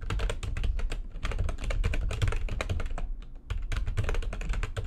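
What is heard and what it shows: Fast typing with long fingernails of both hands on a full-size plastic backlit computer keyboard. Dense, rapid clicks and taps run almost continuously, with a heavy low thump under the bright key clatter and a brief pause near the middle.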